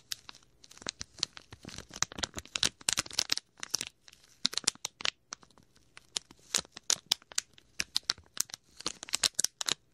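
A small, clear plastic packet with a red and white label is crumpled and rubbed between fingers beside the mic. It makes a rapid, irregular stream of sharp, bright crinkles and crackles with almost no low end. Each snap dies away instantly, with brief quiet gaps between bursts.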